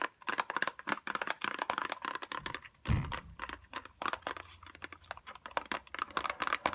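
A small pink cardboard tweezers box with a clear plastic window is held up and tapped fast with long nails. The result is a rapid, dry clicking patter with bright crinkly edges and a short low thump near the middle.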